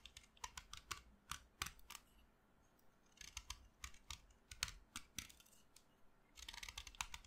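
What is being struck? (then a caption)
Chalk stick cut with a metal knife blade. A solid pink blackboard chalk stick, held in the fingers, is carved with the metal blade of a utility knife, shaving off dry chalk powder. A quick series of short, dry, bright scraping strokes comes in uneven bursts at a low level, with a longer rasping stretch near the end.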